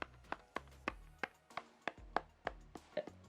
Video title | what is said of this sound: Ultra Thin Rugged Smartphone III f150 AIR1 Pro - A Detailed Review | i feel like something is empty inside